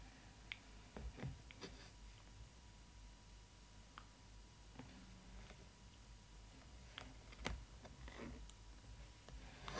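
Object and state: Clear plastic window of a doll box, tapped and scratched.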